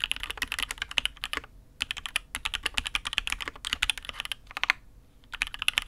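Both hands type with fingertips on a custom mechanical keyboard with an aluminium case and red and grey ABS keycaps. Rapid, bright clacks come in bursts, with a main tone near 2 kHz and little low end. The bursts are separated by two brief pauses around 1.5 and 5 seconds.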